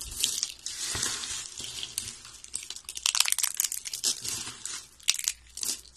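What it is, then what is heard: Dry soap shavings crushed by hand. Brown, solid, dry soap shavings lying beside a rolled soap spiral are broken and crushed between the fingers and in handfuls. The result is a dense run of dry, crisp crunching and crinkling, bright and high with almost no low end, with each crackle cutting off at once.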